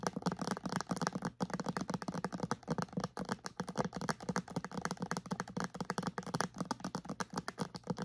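A clear plastic bottle with a white cap, partly filled with liquid and held upright, is tapped on its sides with long nails and fingertips. The result is a rapid, steady stream of short, dry plastic clicks and taps with almost no ring, continuing throughout the clip.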